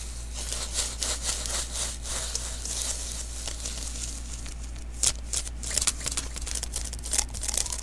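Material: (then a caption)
Adhesive paper. Fingers quickly rub and tap the sticky surface of a small, hollow lint roller refill, an adhesive paper roll held in both hands. The first half is a soft, bright, crackly rubbing, and from about five seconds in, sharper tacky snaps and taps cut through. A steady low hum runs underneath throughout.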